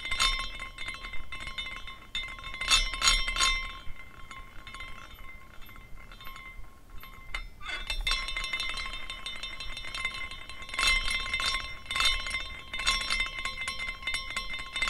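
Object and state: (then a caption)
Glass carousel figurine, clinking glass pieces. A small glass carousel figurine is spun by the fingertips at its top finial, and its hanging glass horses swing and clink against each other. The result is a steady, irregular glass tinkling with bright, quickly fading chimes, rising in bursts as the carousel turns faster.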